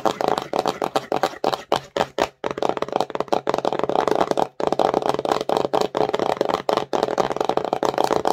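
A small empty cardboard slime box with a glossy printed surface is held in the hands and tapped and scratched fast and aggressively with long nails and fingertips. Dense bursts of dry, crisp tapping and rasping scratches sit mostly in the midrange and die away almost instantly. They are broken by a few brief pauses, near 2.4 and 4.6 seconds.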